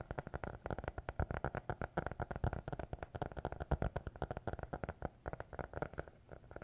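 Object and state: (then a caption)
Hardcover notebook. A small black hardcover notebook, closed and held in both hands, is tapped and scratched with fingertips and nails. It gives a quick, steady run of short, dull, low-pitched taps with a soft scratchy texture between them. Each tap dies away almost instantly.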